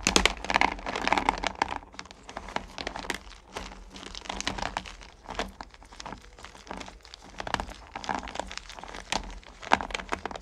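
Fingertips with long painted nails dig into and stir a pile of small solid mellowcreme candy pumpkins in a purple plastic bucket. The candies rub and clack against each other in a dense, bright, crinkly rustle of quick clicks, louder in the opening seconds and in brief bursts later on.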